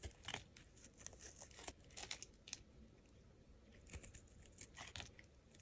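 A metal blade shaves thin curls from the surface of a solid pink hexagonal soap bar held in the hand. The result is a quiet series of crisp, bright scraping and crackling strokes, with short dry bursts and faint low thumps, over a soft background hiss.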